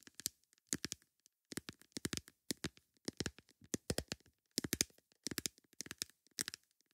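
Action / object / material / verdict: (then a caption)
tap / plastic lid / plastic / none. A plastic lid is tapped with long nails in quick bursts of sharp, bright clicks, separated by short pauses. Each tap is dry and cuts off almost instantly, with most of its energy in the high frequencies and little low end. The tapping stays quiet throughout.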